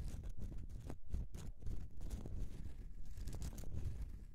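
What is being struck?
Solid bar of soap scratched with fingernails.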